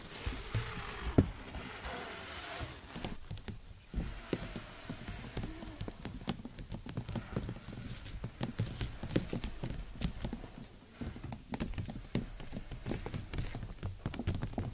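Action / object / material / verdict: tap / nylon fabric umbrella canopy / nylon fabric / none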